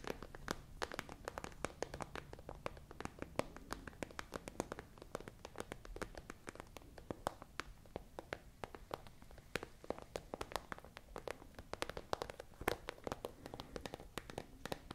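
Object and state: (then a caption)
Plastic pencil case tapped and scratched with nails. A tall, hollow, transparent iridescent holographic plastic pencil case with pens inside is scratched and tapped with long nails. Many quick, dry clicks and taps come in an irregular steady run over soft scratching, each dying away almost at once with a mid-range body and some low hollow thump.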